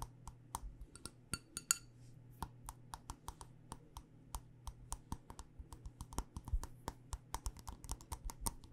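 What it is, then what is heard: Wax-filled glass candle jar. Long nails tap a black glass jar candle filled with wax on its side and base, making about 25 quick, dry, bright clicks at an uneven pace. Each tap dies away almost instantly over a steady low hum, and a few land in quick clusters.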